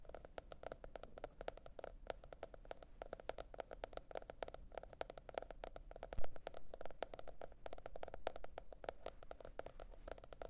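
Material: Cardboard.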